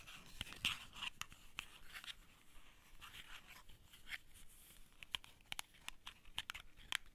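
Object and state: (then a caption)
Empty cardboard matchbox sleeve. Long painted fingernails scratch and tap a small printed cardboard matchbox outer sleeve, held hollow and empty in both hands, with the tray of wooden matches sitting below it. Soft, dry, papery scratching runs throughout, broken by sharp, bright taps that stop instantly with no ring. The result is a quiet, crisp, high-heavy texture with little low end.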